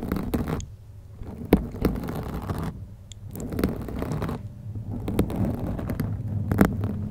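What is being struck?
Foam microphone windscreen.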